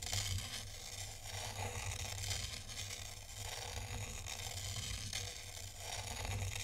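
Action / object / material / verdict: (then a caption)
scrape / tray of fine sand / sand / none. A thin black stylus draws circles through fine white sand in a tray, scratching through the grains. The result is a steady, crisp, bright scraping and crackling, with a constant low hum underneath.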